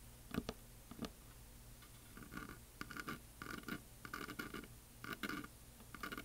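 Fingernails tap and scratch along the top edge of a solid wooden heart plaque painted with glitter. Short knocks and rasping scratches come in quick uneven bursts, with a low hum underneath.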